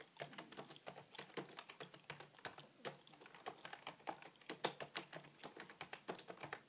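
Both hands type with their fingertips on a beige full-size plastic computer keyboard with a feather pen lying on it. A quiet, steady run of soft, short keystroke clicks follows, each bright and dry with almost no ring and very little low end.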